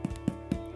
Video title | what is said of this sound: Sour Dough Bread Recipe | that sounds Hollow it's perfectly cooked